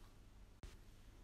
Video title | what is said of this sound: BLACK OLIVE AND ONION BREAD RECIPE - HOW TO MAKE HOMEMADE BLACK OLIVE AND ONION BREAD NO KNEAD | To check if your bread is cooked, turn the bread and tap it in the center. If it makes a hollow sound, then the bread is ready.